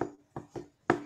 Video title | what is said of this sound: Sabtu, 17 Septmbr 2023 ( PERTANYAAN ADA DI DESKRIPSI ) | semua benda itu bisa berbunyi meja ada bunyinya